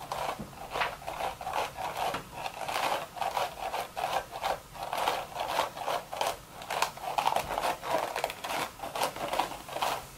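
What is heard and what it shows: Long, sharp red nails scratch and tap the crown of an upturned cream woven straw sun hat. A steady run of about twenty short, dry, rasping strokes with a crisp midrange crackle and some bright edge sounds close and quiet, with almost no low end.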